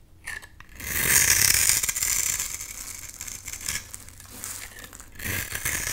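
A box-cutter blade scrapes and shaves a solid pink bar soap into crumbly flakes. The result is a dry, bright, rasping scrape that swells around the first second, then settles into quieter, uneven scratching and rises again near the end.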